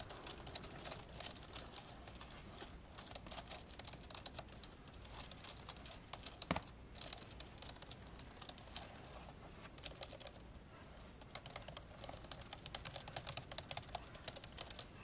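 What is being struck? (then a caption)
Plastic laptop keyboard. One hand presses the keys of an old dark grey plastic laptop keyboard while the other taps and clicks its plastic touchpad buttons with the fingertips. Quick, bright plastic clicks and taps patter steadily with almost no ring, with a sharper, louder click near the middle and a busier burst toward the end.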